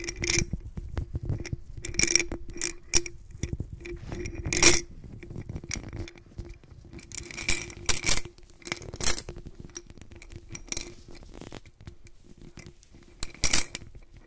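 A white-gloved hand turns and shakes a medium clear glass jar of blue glass beads, rolling the beads against the glass walls. Bright, short clinks and rattling bursts come in uneven clusters over a soft, low rolling rumble, with quiet gaps between shakes.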